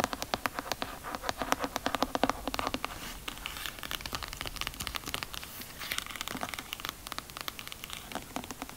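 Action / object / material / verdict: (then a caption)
tap / cloth-bound hardcover book / cloth, board / none. Long acrylic nails tap and scratch quickly on the textured patterned cover and gold spine of a thick, solid cloth-bound hardcover book (Homage to Catalonia / Down and Out in Paris and London) held upright in one hand. Sharp, bright clicks come in a rapid stream, louder and more separate in the first few seconds, then give way to softer, denser scratchy rustling with little low end.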